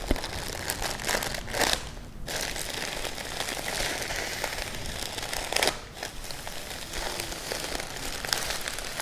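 A medium, flat, hollow cardboard gift box wrapped in purple tissue paper and sealed with a small sticker lies on a table. Both hands scratch and tap across the paper with long painted nails and fingertips, producing steady, bright crinkling and crackling. Two brief quieter pauses break the texture near 2 and 6 seconds.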